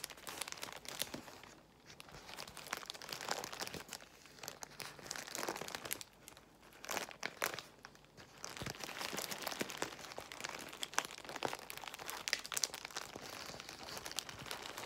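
A large bundle of clear plastic bubble wrap is squeezed by fingers while long white nails tap and scratch across it. Dense, bright crinkling and crunching rustles continue throughout, with brief quieter dips between bursts of handling.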